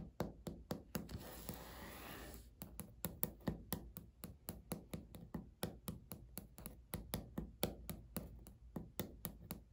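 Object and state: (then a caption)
Laminate countertop tapped with fingernails. Natural nails knock, tap and scratch on a flat, solid, beige speckled laminate countertop. Dozens of dull, short knocks come at a quick, uneven pace. Near the start, a brief stretch of dense scratching breaks the tapping.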